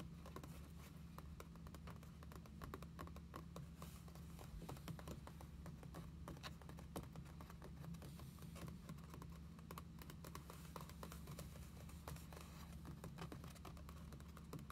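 Long fingernails tap and scratch across the blank paper pages of an open journal lying on a table. Quick, dry clicks and soft scratching rustles come in a rapid, uneven stream over a steady low hum. The sound stays quiet throughout.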